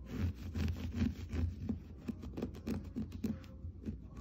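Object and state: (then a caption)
Looped-pile textile rug. Fingernails scratch and scrape across the looped pile of a blue and cream geometric floor rug, and the hand drags across its surface. The result is a quiet run of soft, dull rasping strokes, a bit more than two per second at an uneven pace. The sound is mostly low and muffled, with little brightness and almost no ring after each stroke.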